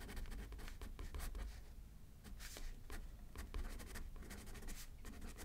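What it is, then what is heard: Pen writing on a paper card. A pen writes left-handed on a thin paper card resting on a paper pad, giving a quiet run of dry scratching strokes with brief bright bursts between pauses. A low, steady rumble sits underneath the writing throughout.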